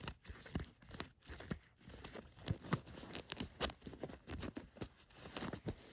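Long nails scratch and tap along khaki cotton canvas cargo pants lying flat, working over the fabric, a flap pocket and a plastic button. The sound is dry, quiet scratching and rustling broken by many short, sharp taps and crinkly clicks with no ring.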